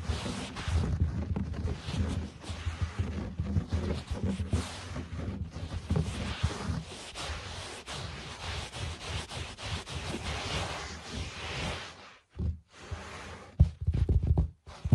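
Fingertips and short nails scratch and tap across a low-pile speckled carpet, moving toward the camera. It makes a steady, dense, low, muffled scraping and rustling with a faint airy hiss on top. Near the end it drops almost to silence, then a few louder, sharper taps and scratches follow.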